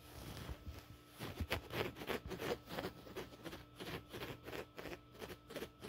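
Fingertips and nails scratch the coarse woven fabric of a soft, stuffed grey-brown checked upholstery couch pillow. The result is a quiet, quick, irregular series of dry, raspy scratching bursts that spread from low to bright.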